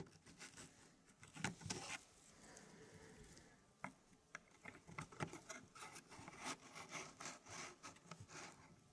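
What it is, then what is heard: Wooden puzzle pieces rubbed and slid. Fingertips slide and rub thin, flat wooden fractal pieces into place inside a square laser-cut wooden tray about 20 cm across. Soft, dry scraping and rubbing is broken by light wooden clicks and taps, with a quieter, steadier rub in the middle. The sound stays low in level with a bright, hissy edge.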